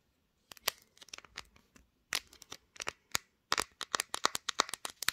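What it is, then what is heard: Smartphone glass back tapped with nails. Long nails tap and scratch across the glass back of a pink smartphone that is doing the recording. About twenty sharp, bright, dry clicks come in irregular bursts with faint scratchy rustles between them, each dying away instantly with no ring.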